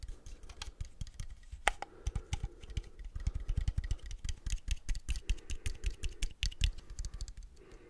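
Fingertips tap the body of a small, hollow Agfa Isoly film camera with a leatherette plastic body and chrome metal top, held in both hands. The rapid, uneven taps sound like dull, low thuds with short, clicky attacks that die away almost at once, much like typing on a keyboard.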